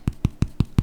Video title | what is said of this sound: Easy Vegan Hot Cross Buns - Really Simple Recipes | It's hollow inside. So that means that these are ready, they're done.